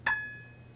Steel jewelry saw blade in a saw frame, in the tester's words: have a really nice tight blade so you hear a high-pitched ping